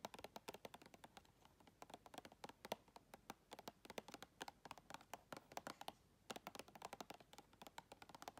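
Long red fingernails tap rapidly on the lid and side wall of a round clear plastic tub filled with white items. Dozens of short, dry clicky taps with a bright edge come in a fast, uneven stream, with a brief pause near the six-second mark before the tapping resumes.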